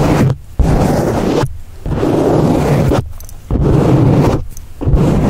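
A black foam windscreen on a microphone is held in one hand and scratched and rubbed with the fingertips of the other. Loud, low, crackling rumbles come in long bursts, broken by several brief quiet gaps.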